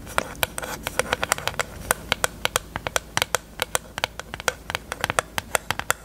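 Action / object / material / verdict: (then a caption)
tap / small hollow plastic eyelash case / plastic / none. Long nails tap quickly on a small, hollow pink plastic eyelash case held open with its mirror lid up. About 36 sharp, clicky taps come in irregular bursts, each hollow and bright with almost no ring, over a faint steady hiss.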